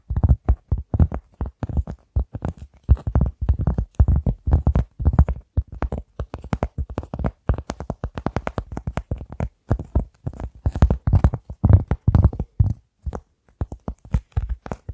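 A large, flat, round cork board, held in both hands in front of a microphone, is scratched and tapped with long nails. The result is a steady stream of rapid, irregular, dull, low thuds with almost no ring, broken by a few short pauses and light scratchy texture.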